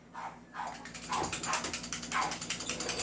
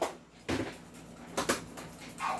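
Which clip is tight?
The second.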